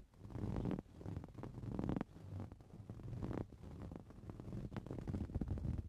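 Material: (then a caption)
Woven fabric. Fingernails scratch the surface of a soft-filled green woven fabric cushion, making a low, muffled, rumbling scrape. The scratching comes in dense, continuous bursts that rise and fall in loudness over about six seconds, with almost no bright or high content.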